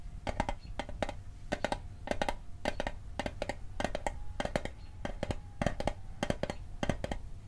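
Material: Tin-plated steel.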